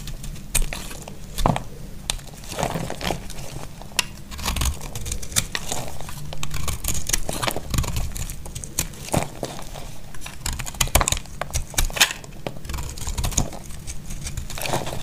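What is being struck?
Bar of soap.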